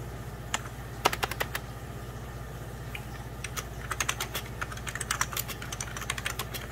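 Fingertips and short nails make rapid key presses on a full-size 90s Packard Bell keyboard, its beige plastic keys set over a hollow plastic case. Sharp, bright clicks come in quick irregular bursts, then thin out briefly before a denser run of typing resumes. A steady low hum runs underneath throughout.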